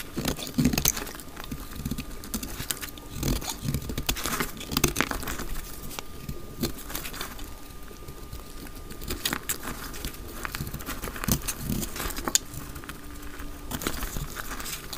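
A solid, palm-sized, dry brown soap bar held in the hand has its edge shaved with a utility knife blade. Dense, dry scraping and crumbly crackling clicks repeat throughout, with bright high-frequency grit over a soft low rumble and a faint steady tone.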